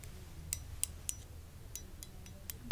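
A small glass gecko figurine with pink crystal eyes and a swirly pattern inside, received as a Christmas gift, is handled and tapped. It gives several short, bright clinks that stop almost at once, with a last, fuller knock at the end. A quiet low hum runs underneath throughout.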